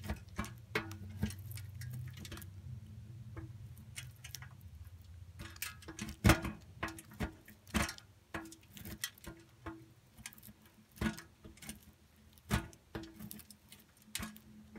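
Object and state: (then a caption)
Bar soap grated on a metal grater. A solid pink soap bar is rubbed across the coarse holes of a stainless steel box grater, heard from inside the grater as thick soap curls drop. Irregular, dry scraping strokes come in sharp bursts that reach up into bright highs, over a low hum during the first few seconds. The strokes are uneven in strength, and the loudest cluster in the middle of the clip.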